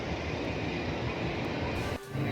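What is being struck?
Nothing is struck.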